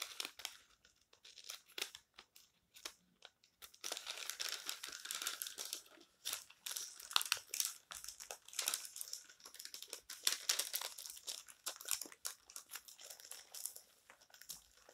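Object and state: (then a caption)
Paper magazine pages. Fingers crumple and lift a page of an open paper magazine on a table, turn it, and smooth it down with the fingertips. A dense stream of bright, crisp crinkles and rustles, with sharp papery crackles during the turns and softer brushing strokes as the page is smoothed.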